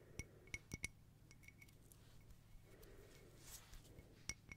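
A round, hollow silver crackle mosaic glass tea-light holder with a lit candle, resting on a palm, is tapped on the glass by long nails. It gives short, bright clinks with a ringing tone near 2.2 kHz over a quiet low hum. The taps come in a quick cluster at the start, a few softer ones in the middle, and two more near the end.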